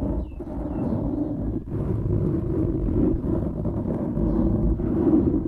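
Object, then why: Foam microphone windscreen. A dark grey foam windscreen over a microphone, soft and porous, is scratched and rubbed by the fingertips and short nails of both hands. It produces a continuous, dense, muffled rumbling scratch, heavy in the low end with almost nothing bright, and brief dips where the rubbing pauses.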